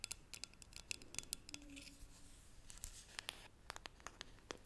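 A hollow green metal tea canister is turned in the hands while long nails scratch and tap it, including on the lid and base. The result is quiet, dry, bright ticks and clicks that die away instantly, mixed with soft scratchy rubbing.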